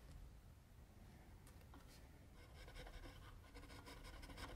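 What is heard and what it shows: A metal mechanical pencil scratches shading strokes across flat white drawing paper on a table while the left hand rests on the sheet. Soft, rapid, irregular scratching runs over a quiet, low background hum, and the strokes grow louder and brighter in the second half.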